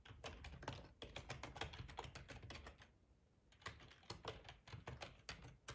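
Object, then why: Plastic computer keyboard. Fingertips type on the keys of a black plastic ergonomic split keyboard with a hollow housing, resting on a cloth tablecloth. Quick bursts of sharp, bright key clicks with hollow low thumps run for about three seconds, pause briefly, then resume in a sparser rhythm.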